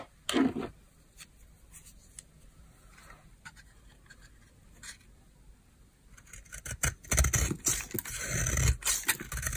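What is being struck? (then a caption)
Bar of soap. A palm-size solid oval bar of dry white soap, held in the hand, is scraped with a utility knife blade. A short, crisp scrape opens the clip, followed by faint scattered ticks and quiet stretches. Dense, bright, rasping scrapes then build and continue to the end.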